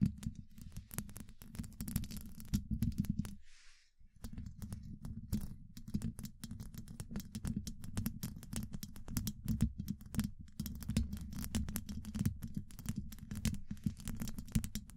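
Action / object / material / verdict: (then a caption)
tap / steel mesh microphone grille / steel mesh / none. Long acrylic nail tips of both hands tap rapidly on a hollow domed steel mesh microphone grille. The result is a dense, continuous patter of quick, short taps, each a low, boomy thump around 200 Hz with a bright, crisp tick on top. The tapping pauses briefly near the four-second mark, then picks up again at a steady pace.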